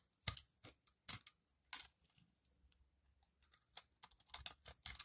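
A metal utility-knife blade scrapes and carves crunchy flakes off a solid, dry, green recycled soap ball held in the hand. Short, bright, crisp crunches come in a quick burst, then a quieter stretch of faint scraping, then a denser run of crunches toward the end. Each crunch is dry and stops almost at once.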